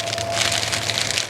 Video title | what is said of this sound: Soybean School West - Assessing Soybean Maturity | when you can actually hear the seeds rattle within the pods